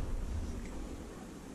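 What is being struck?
Nothing is struck.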